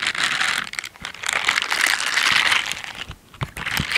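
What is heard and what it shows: Pink silicone scrubber dish gloves with bristle pads, worn on both hands, are rubbed together while the fingers scratch against each other. The result is a dense, bright, crinkly scratching hiss, concentrated in the upper range, that swells and fades with the strokes. It pauses briefly a few times and has a couple of soft low bumps near the end.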